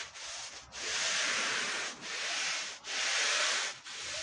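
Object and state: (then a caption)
Wool rug being scrubbed. A long-handled push brush scrubs a dirty, powdered wool Persian rug. Long, steady rubbing strokes make a bright, scratchy hiss, with brief dips between strokes as the brush changes direction.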